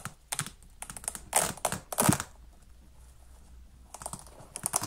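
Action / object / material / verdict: scrape / children's synthetic sneaker with velcro straps / synthetic / none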